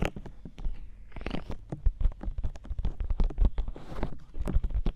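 Hands with long manicured nails cup, rub and tap the two soft white, ear-sized silicone rubber ears of a 3Dio FS binaural microphone mounted on a black rigid body, using fingertips and palms. The result is a dense, irregular stream of muffled, bass-heavy thumps and close rubbing bumps, with brief brighter scratchy swishes between them. Each sound is dry and stops instantly.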